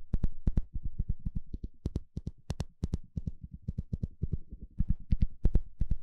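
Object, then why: Plastic fine-tooth comb. The teeth of a small blue plastic fine-tooth comb, held in the hand, are scratched and flicked with a thin plastic stick. This makes a rapid, uneven run of short, crisp clicks and ticks, often in close pairs. Each snaps sharply and stops almost at once, over a soft, low scratching bed.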